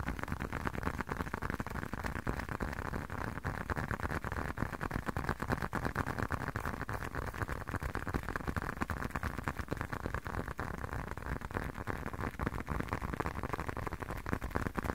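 Fingertips tap and scratch a small blue and dark leather wallet held sideways. A steady stream of rapid, soft, dull taps runs throughout, mixed with a faint scratching rustle, mostly low and muffled with little brightness.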